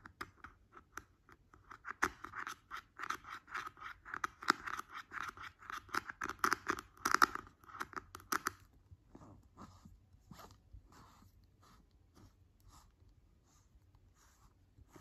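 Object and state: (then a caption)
Plastic jar lid. A fingertip and fingernail tap and scratch the top of a large, round, green plastic screw lid on a hollow white plastic skincare cream jar resting on fabric. Quick, dry, hollow clicks and scratchy strokes, centred around 1.8 kHz with a bright edge, come in a dense, busy stream for about eight seconds. They then thin out into sparser, quieter taps.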